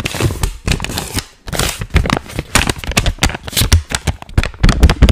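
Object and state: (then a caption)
Paper banknote being crinkled. A single thin paper 20-euro banknote is held in both hands close up, folded and unfolded while fingertips crinkle and rub it. The result is a dense run of dry, crisp crackles and rustles with quick taps, bright on top and thumping low, in bursts over about five seconds.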